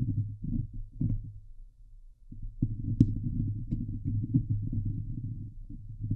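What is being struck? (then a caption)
Steel mesh microphone grille. Long glitter nails on both hands scratch the hollow steel mesh grille of a Blue Yeti microphone. It makes dense, throbbing, low-heavy rubbing bursts with a brief quieter lull in the middle. A sharp, bright click stands out partway through.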